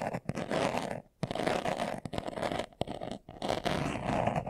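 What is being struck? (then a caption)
Leather-covered glasses case. A hand-sized, hollow, closed, brown leather-covered glasses case, held in both hands, is scratched fast with short nails and fingertips. Dense, dry rasping bursts centered in the midrange are broken by brief quiet pauses, with little low end and no ring after each stroke.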